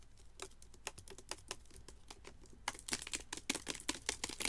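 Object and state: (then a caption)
Plastic drink bottle. Fingernails tap quickly on a hollow Vitaminwater-style plastic drink bottle of about 20 oz, with yellow-green liquid inside and a label, while it is held in one hand. About twenty short, bright, clicky taps come in an uneven rhythm, each dying away almost instantly. The tapping grows louder and denser in the second half.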